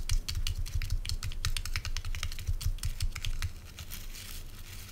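A hand-sized oval body brush with a wooden base and stiff natural bristles is held in the hand while fingernails scratch and flick the bristles quickly. Rapid, irregular dry clicks and bristly flicks come in a fast, uneven stream over a low thudding undertone, fading slightly toward the end.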